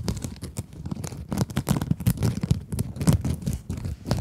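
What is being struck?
Mesh scrub sponge.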